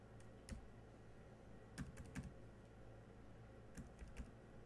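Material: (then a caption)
Plastic. Fingertips of one hand tap the black plastic keys of a silver laptop keyboard. Seven short, dry, quiet clicks come in small clusters over a steady low hum, each dying away almost at once.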